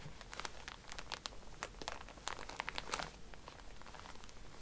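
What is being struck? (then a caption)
Pack of cotton pads in a plastic wrapper. Fingernails tap and scratch a plastic-wrapped pack of cotton pads, first while it lies flat and then while it stands upright. The result is a quiet, steady run of crisp plastic crinkles with sharp, bright ticks and short scratchy rasps.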